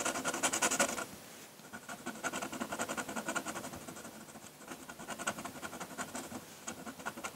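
A metal dip-pen nib scratches ink lines across a flat sheet of drawing paper while the hand drags across the lower area of the drawing. A loud, dense burst of bright scratching in the first second gives way to quieter, rapid, uneven strokes with a dry papery rasp and almost no low end. The scratching swells again in the later seconds.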